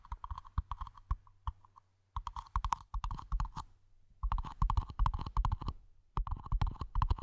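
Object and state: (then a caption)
Small plastic planter pot tapped with nails. Long nails and fingertips tap rapidly on the sides and rim of a small, hollow, empty, matte black plastic mini planter pot, held in the hands and then placed over the mic. The taps come in quick, uneven bursts of dry clicks with brief pauses between them. Each click has a hollow midrange ring and a soft low thump, and dies away almost instantly.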